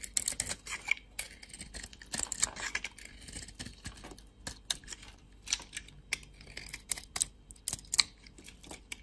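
A utility-knife blade carves and scrapes a solid oval bar of dry soap with a red shell and white core, held in the hand. Quiet, bright scratchy bursts and crisp little clicks come in irregular clusters, each cutting off at once with no ring.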